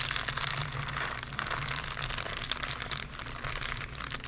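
A thin, soft sheet of white tissue paper spread over the pages of an open Bible is pressed, rubbed and crumpled against the pages by two hands with green-painted nails. A continuous, bright crinkling rustle with dense, close-packed crackles runs throughout over a faint low hum.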